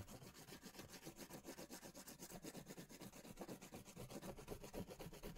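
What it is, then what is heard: Crayon rubbed on a paper drawing pad. A crayon is rubbed vigorously in circles and strokes over a large paper sketch pad held upright. It makes a steady, rapid scratchy rasping of quick repeated strokes, about four per second, with a soft low body and a brighter papery hiss on top.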